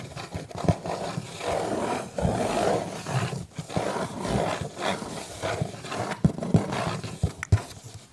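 A cardboard pizza box is scratched and tapped, giving rough, rustling scrapes with a dull, low-mid body. Several sharp, short taps stand out between the scratching bursts, with brief quiet gaps in between.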